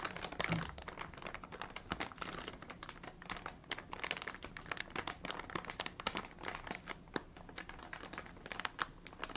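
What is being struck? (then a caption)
Soft plastic packaging bag. A large soft plastic packaging bag with green and red printed text, apparently filled with soft contents, is held in both hands with bare fingertips and shaken and squeezed. It gives a dense, steady stream of bright crinkling and sharp crackles with no pause, and each crackle cuts off almost instantly.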